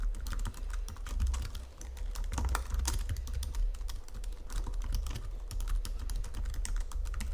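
Fingertips with medium painted nails type steadily on a full-size white and silver Logitech wireless keyboard with plastic keys on a flat chassis, resting on a marble surface. A dense run of quick, bright plastic taps and presses clatters on throughout, each click short and dry over a low, constant rumble.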